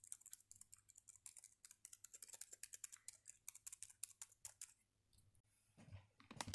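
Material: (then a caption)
Plastic. Fingertips type and tap on the black chiclet keys of a red plastic Dell laptop with a hollow body. About three dozen quick, bright, dry clicks come in a steady run with almost no ring. A brief lull near the fifth second gives way to a fuller, rougher burst of tapping at the end.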